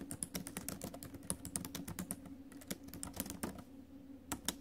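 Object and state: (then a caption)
Laptop keyboard, plastic keys. Fast typing on a silver metal laptop's plastic keys with fingertips and acrylic nails gives a quick run of short, dry clicks and taps. The bright, crisp clacks sit over a steady low hum.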